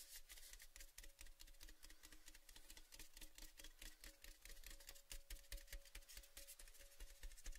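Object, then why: Painted metal tin canister. A tall red cylindrical metal Baileys gift tin, hollow and apparently empty, is held in both hands while fingertips and nails rub and scratch along its painted side. The result is a dense, uneven stream of quick, bright scratchy ticks over a low rumble, with a faint hollow metallic ring humming underneath.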